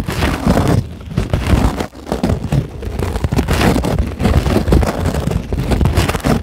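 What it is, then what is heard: Polyethylene foam sheet. Long glittery acrylic nails on both hands scratch a solid, flat white closed-cell polyethylene foam sheet. The result is a dense, continuous scratching and rubbing texture, heavy in low rumble with little bright content. It dips briefly twice before carrying on steadily.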